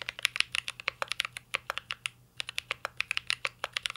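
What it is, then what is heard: Mechanical keyboard with plastic keycaps. Fingertips type steadily on a mint-green Cyberboard R3 mechanical keyboard with plastic keycaps and a metal case, producing about 28 sharp, bright key taps. The taps are crisp and dry with almost no ring, and a brief pause comes midway before the typing resumes over a faint low hum.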